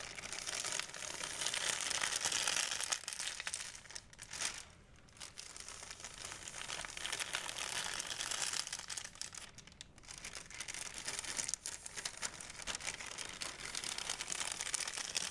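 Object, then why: Thin plastic shopping bag. A thin, empty white plastic Blick shopping bag is held up by one corner and crinkled and shaken by hand. The result is a dense, continuous, bright crackling rustle, with brief quieter dips around 5 and 10 seconds.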